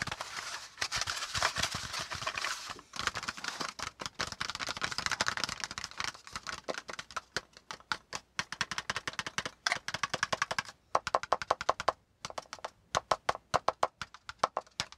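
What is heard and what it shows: A flat brown kraft cardboard panel lying on a notebook is briefly held, then tapped and scratched with the fingertips and nails of both hands. Dense, bright scratching and rustling fills the first half. It gives way to quick, crisp, separate dry taps with almost no ring.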